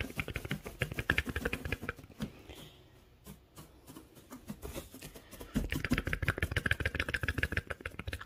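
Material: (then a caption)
Wood. Fingertips with short nails dig and scratch through a loose pile of small pale wood shavings or sawdust, making dense, crackly rustling with rapid dry crunches. The scratching is busy for the first two seconds, drops to softer, sparse rustles in the middle, then returns louder and denser from about 5.5 seconds, with a bright, hissy edge to the end.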